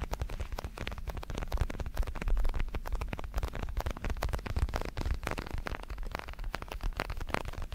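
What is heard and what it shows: Fingertips tap and scratch the surface of a large red padded synthetic leather boxing glove, hollow with foam padding and held in both hands. A dense, steady patter of soft, muffled taps with low, thuddy weight and brief scratchy textures continues throughout, with little ring after each touch.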